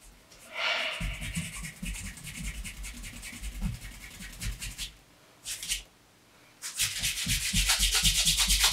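A bare hand vigorously rubs the upper of a dark brown pebbled leather Allen Edmonds MacNeil wingtip shoe from Brooks Brothers, held up with a shoe tree inside, to polish it. Quick, rhythmic strokes make a bright, hissy friction with soft low thumps underneath. The rubbing pauses briefly near the middle, then resumes faster and louder to the end.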